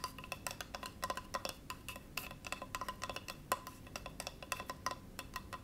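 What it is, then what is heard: Bamboo cutting board. A small solid bamboo cutting board resting on a lap is tapped and scratched with fingernails. About 34 short, dry, woody clicks with almost no ring come in quick, irregular succession, with a faint tone near 1 kHz over a soft scratchy hiss.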